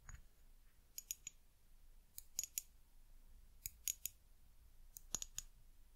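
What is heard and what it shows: Long nails tap and scratch the bare glass of a small amber-brown glass bottle with a white cap, its label turned away. Thirteen short, bright clicks come mostly in quick groups of two or three, each with a faint high glassy ring that dies almost at once. A low, quiet background hum sits underneath.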